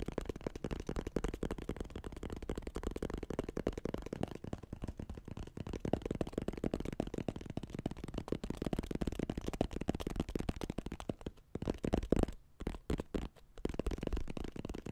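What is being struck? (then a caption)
Small hollow wooden box. A small, light-colored hollow wooden box held in both hands close to the mic is tapped and scratched with fingertips and nails. Dense, rapid, dry taps and scratches with a hollow, low-mid body continue almost without pause. The sound drops out briefly around 11.5–13.5 seconds before the tapping resumes.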